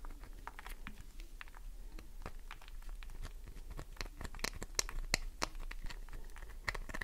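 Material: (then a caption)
Glycerin soap. Long nails scratch and dig into a solid green glycerin soap bar, producing a quick, irregular stream of crisp scratches and crunchy, crinkling clicks. Short bright snaps stand out over a soft low rumble, growing slightly louder and sharper toward the end.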